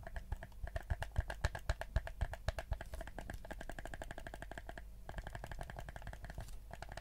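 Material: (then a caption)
Plastic. Fingertips tap and click the buttons and shell of a black hollow plastic PS4 gamepad. Quick, dry clicks and taps come in a rapid, slightly uneven stream, with louder distinct taps early on that settle into softer, denser clicking. A low hum sits underneath throughout.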